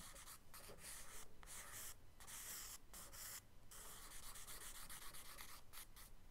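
A charcoal stick held upright scratches short strokes across a page of a spiral-bound kraft paper sketchbook lying flat. The result is a steady run of dry, gritty, bright scratching in bursts, broken by brief pauses between strokes.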